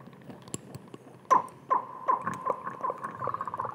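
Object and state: Glass dropper bottle.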